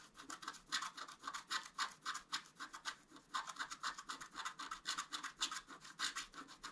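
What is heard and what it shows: A thin wooden stylus held in the fingers scratches the black coating off the antler area of a flat, thin, solid A4-sized scratch-art card made of black-coated paper board. It makes a quick, uneven series of short, dry, bright scratching strokes with a high, raspy hiss and no low end.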